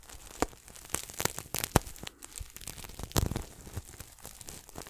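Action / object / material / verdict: scrape / sequin throw pillow / sequins / none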